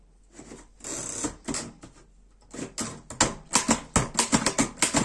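Fingertips type on the keys of a black metal Erika 5 portable typewriter. Soft, muffled taps and a brief rustling stretch come first, then sharp, bright metallic key strikes follow in an uneven run, each clack dying away quickly.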